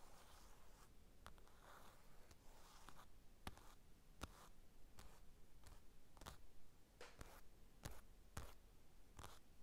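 Fingertips and nails scratch and tap the glossy cover of a closed paper magazine lying flat on a table. Soft, breathy scratching rustles run throughout, broken by short, sharp taps that click brightly and stop almost at once, all at a quiet level over a low rumble.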